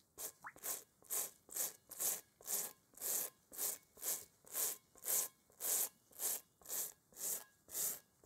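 A small bristle brush scrubs a large, hollow, inflated rubber kickball with a textured pebbled surface, held in one gloved hand, with wet bowls on the table nearby. About 17 separate, bright, hissing brush strokes come at a steady back-and-forth pace of roughly two per second, each with no lingering ring.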